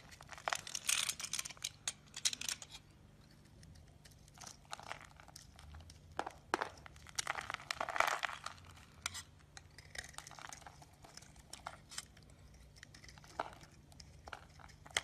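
A solid yellow bar of soap, held in the palm, is shaved with a utility blade into curls and crumbs. Quiet, bright scraping and crinkly crunching come in bursts of strokes, with short pauses of near-silence between them.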